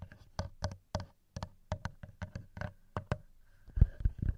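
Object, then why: Metal microphone capsules of a handheld recorder. Fingertips and nails tap and scratch the metal microphone capsules of a TASCAM handheld recorder. Close, crisp knock-like taps come in an uneven rhythm with very short ring and mostly low, thumpy body, and a denser cluster of heavier taps arrives near the end.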